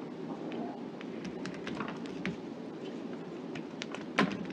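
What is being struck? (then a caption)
Bar of soap cut with a knife. A gloved hand carves a solid light green soap bar with a knife blade, chopping off small cubes. Soft, repeated crisp cuts and light scraping ring out over a steady low hiss. The clip ends with a louder, sharper thunk near its close.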